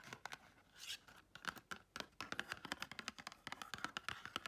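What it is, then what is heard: Paper-covered cardboard box. A small pink and gold patterned paper-covered cardboard gift box, held in the hand, is quickly tapped and scratched with long red chrome nails. It makes a rapid run of crisp, hollow clicks mixed with dry, bright scratching rustles, with almost no low end and each tap dying away instantly.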